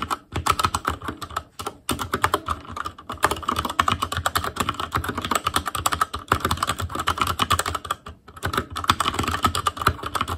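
Fingertips of both hands type rapidly on a full-size ASUS ROG Claymore Core keyboard with plastic keycaps on Cherry MX Red switches over a metal plate, with a hollow case and RGB backlight. It makes a dense run of short, clacky key taps with a hollow tone around 1.3 kHz, broken by a few brief pauses.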